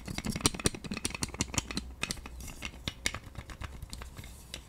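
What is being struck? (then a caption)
Plastic roller massager with spiky rollers. A pink plastic roller massager with white spiky rollers is rattled, spun and scratched with long nails. Quick, dry plastic clicks and rattles come in an uneven stream, with bright scratchy bursts over a faint steady low hum.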